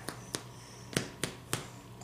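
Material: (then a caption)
Bread. Whole wheat bread loaves, fresh from baking at 350°F for about 40 minutes in their loaf pans, are thumped on top with five sharp, short taps and a fainter sixth. Each tap gives a brief hollow knock that dies away almost at once, showing the loaves are baked through.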